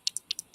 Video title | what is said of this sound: Let’s Get Crafting / It’s a Mystery | it sounds like glass